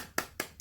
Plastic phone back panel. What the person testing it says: it kind of sounds Hollow so this back right here is a plastic back